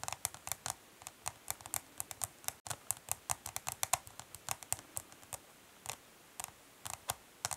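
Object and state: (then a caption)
Plastic eyeshadow palette. Long nails tap rapidly along the top edge and side of a hollow, dark smoky translucent plastic eyeshadow palette, giving quick, light, bright clicks. There are about 37 short, dry taps with almost no ring.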